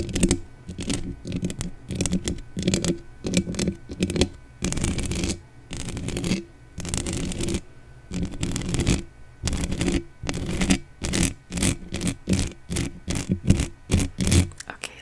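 Long dark-painted nails and the fingertips of both hands scratch and tap the uncovered hollow metal mesh grille of a black desktop condenser microphone. Rough, bass-heavy scratching comes in repeated short bursts, with dry taps and brief swishy brushing between them. The bursts turn faster and choppier toward the end.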